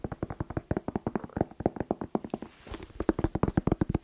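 A whole, fresh, hollow, hand-sized red bell pepper is tapped quickly with fingertips and nails in a rapid run of 29 short, hollow knocks. The knocks have a low, woody tone around 320 Hz and die away almost at once, with a brief, softer scratchy pause just before the final burst of taps.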